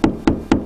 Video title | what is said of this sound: How to use a Stud Finder | listening for the hollow spot this sounds Hollow